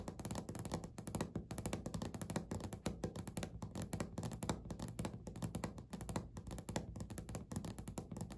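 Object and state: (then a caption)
Laminate countertop tapped with fingernails. Natural medium-length nails of both hands tap rapidly on a flat, solid, beige speckled laminate desk or countertop surface. The result is a steady stream of quick, dull, low-pitched knocks with very little ring and only a faint bright click on each tap.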